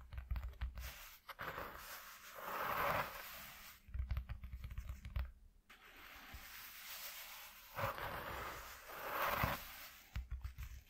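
Fingertips with short nails rapidly tap and scratch a flat white corrugated cardboard sheet. Quick clusters of dull, low taps alternate with longer raspy scratching passes that brighten and swell, then fade back to soft tapping.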